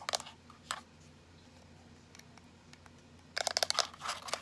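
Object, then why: Small plastic power bank. A small teal plastic power bank, held upright, is tapped and rubbed with long nails and fingertips. A few sharp, bright clicks open the clip, followed by a quiet stretch with faint ticks, then a quick burst of crisp tapping and scratchy rubbing. The clicks are thin and high, with almost no low end, and each stops instantly without ringing.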